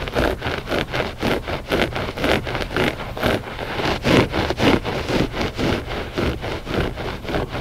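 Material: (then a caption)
Textile. Short fingernails scratch a flat gray loop-pile textile rug, soft and solid, in a steady back-and-forth rhythm. Each stroke makes a dry, rasping scratch with a broad, textured hiss, repeating about fourteen times with short pauses between.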